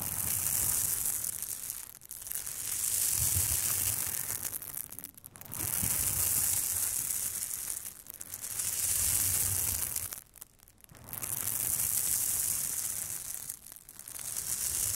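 Plastic scalp massager prongs scratch and brush across the large, flat, crinkly silver surface of an aluminium foil thermal insulation bag. The result is a bright, hissing crinkle with a faint low rumble, heard as a series of long sustained passes separated by brief quiet pauses.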